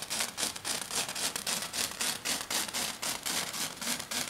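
Long dark nails scratch fast near the edge of a flat silver glitter foam sheet. The result is a rapid, steady run of dry, bright, hissy scrapes, almost four strokes per second, with very little low end.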